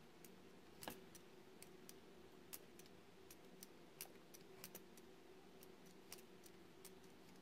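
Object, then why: Solid bar of soap worked with a metal roller cutter. A metal roller cutter tool scrapes a solid oval white soap bar held in the hand, producing shavings. Sharp, bright little clicks and ticks come in an irregular series, each dying away quickly. A steady low hum runs quietly underneath.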